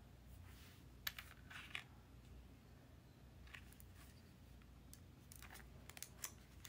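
A small, hollow magenta plastic Nintendo DSi, closed with stickers on the lid, is held in the fingertips and turned over to show the back. Quiet, sharp handling clicks and light taps sound on the plastic shell over a low, steady background rumble.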